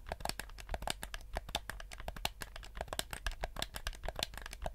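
Fingertips tap and scratch the sides and buttons of a black PS4-style plastic gamepad with a hollow shell. The result is a quick, dense run of short, dry clicks and crinkly scrapes with bright tops, each dying away almost instantly over a steady low hum.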